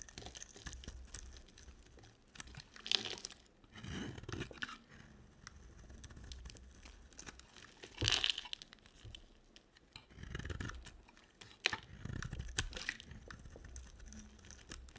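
A box cutter scrapes and carves a solid, dry, red-coated bar of soap, breaking off crumbly flakes. The sound is a dry, bright crunching and crinkly tearing with a quick scratchy texture, and louder scraping bursts rise around 3, 8, 10.5 and 12 seconds between softer passes.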